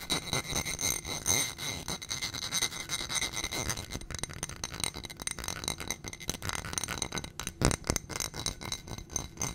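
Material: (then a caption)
Glass. A small footed glass coupe candle holder filled with white wax is tapped rapidly with long nails on its glass sides and rim. The result is a dense stream of quick, bright clicks and clinks with a faint glassy ring and very short decay.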